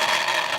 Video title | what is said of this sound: Ty Tessmann Pro Tip: Gear Mesh | there's no play there you can hear that